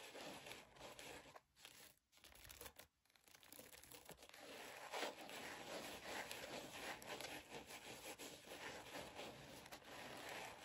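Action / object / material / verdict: scrape / glitter and sequin ears headband / glitter, sequins / none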